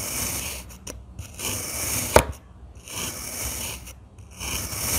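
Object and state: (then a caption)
Kinetic sand being cut. A stainless steel crinkle-cut knife slices repeatedly through a solid, roughly hand-sized block of damp blue and green kinetic sand resting on a white surface. Each cut makes a crunchy, gritty scraping rasp with bright hiss, separated by brief quiet gaps, and one sharp crunch stands out midway.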